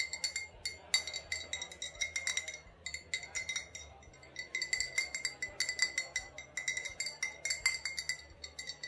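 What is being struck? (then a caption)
Glass bottle. An old glass bottle with a faded sticker, holding what may be vodka or rubbing alcohol, is tapped and clinked over and over in a steady run. The many quick, bright glassy clinks each ring for only a moment and sit over a faint low hum.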